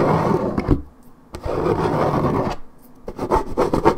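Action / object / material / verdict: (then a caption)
scrape / coated paperboard juice carton / paperboard / none. Long red-painted acrylic nails scratch hard back and forth across the printed side of a hollow Minute Maid 1.75 L coated paperboard orange juice carton held in one hand. Rough, dry rasping strokes come in three bursts separated by brief quiet pauses, the last burst turning choppier. The scratching wears a white patch into the paper.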